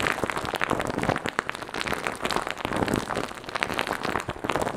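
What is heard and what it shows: Fingers rub, press and scratch a light-blue fluffy foam windscreen covering a microphone. The result is a dense, continuous crackle of sharp, brief scratches and rustles, like rain pattering on a surface, spread across low to bright tones with a steady, slightly pulsing loudness.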